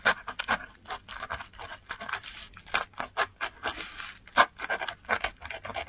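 A metal dip pen nib scratches strokes into a flat sheet of textured Korean paper while writing. It makes a rapid series of short, dry, bright scratching bursts with almost no low end, each stroke stopping quickly with no ring.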